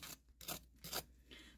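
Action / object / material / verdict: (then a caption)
scrape / fried mac and cheese ball with crumb crust / fried crumb crust / crispy. Freshly fried mac and cheese balls with a crumb crust, possibly left in the fryer a little too long, are scraped or tapped. This produces a few short, bright, dry crunchy rasps separated by brief pauses. The crust sounds crispy, and the balls look good inside when cut open.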